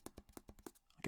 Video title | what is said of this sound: RELAXING REVIEWS - AUKEY SK-S1 Bluetooth Speaker | it feels solid like it sounds solid there's nothing Hollow feeling about it